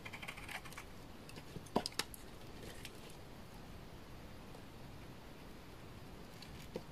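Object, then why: Laundry soap bar cut by a utility knife blade. A utility knife blade shaves the edge and face of a solid bar of dry orange laundry soap. Faint crisp scraping ticks run over a low, quiet background, with a few sharper snaps near the two-second mark and one more at the end.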